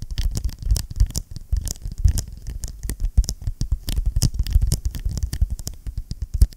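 A closed blue vinyl-covered ring binder, held close, is tapped and scratched rapidly with fingertips and nails on its cover. The result is a dense, steady patter of short, dull thumps with a deep low thud underneath. A faint bright scratchy hiss rides on top.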